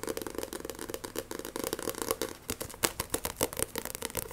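A glossy-covered Shaman King paperback manga is scratched and tapped quickly with long nails. The result is a rapid, busy stream of dry scratching and sharp, bright clicks with no ring, with a few louder taps near the end.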